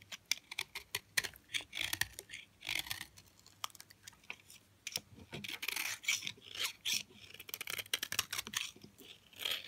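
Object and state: Hard, dry bar of soap.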